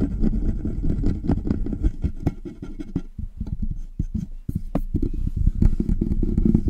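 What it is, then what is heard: Metal microphone body, tapped and scratched. Fingertips and nails of both hands tap and scratch quickly along the sides of the hollow body of a large black metal desktop USB condenser microphone on its stand. The result is a dense, irregular run of dull, low, close thuds with short scraping strokes, briefly lighter and sparser in the middle before building back up.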